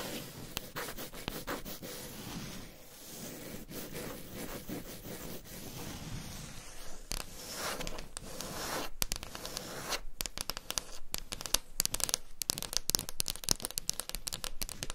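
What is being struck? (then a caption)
Wooden table top. Long pink pointed nails scratch and rub across a large, solid, flat wood-grain table top, with two microphones resting at its sides. A steady, dense scratching texture fills the first half, then gives way to sharper, quicker tapping and scraping bursts with bright, crisp edges.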